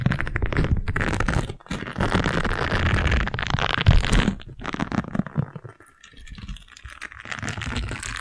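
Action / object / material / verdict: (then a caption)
scrape / silicone scrub pad / silicone / none. A single thin, flexible, round yellow silicone scrub pad with short bristles is bent and scratched with long nails and fingertips. The result is a dense, uneven run of low, rumbling scratching and scraping with crinkly bristle texture. It eases into quieter, sparser scratches toward the end.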